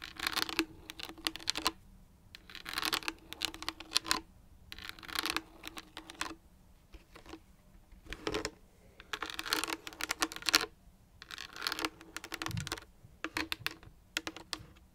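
Long nails tap and scratch on a large, empty, pinkish clear plastic water jug with a metal cap. Quick, bright clicks and scratches come in bursts separated by short pauses. Each tap is dry and dies away almost at once.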